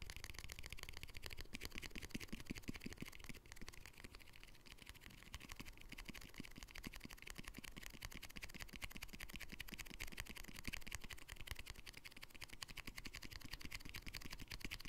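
A green plastic jar lid, held on its own with its white inner side facing out, is tapped and scratched with fingernails. Quick, dry, closely packed clicks and scratchy rustles run steadily at a low level with a bright edge, each tap dying away almost instantly over a faint low rumble.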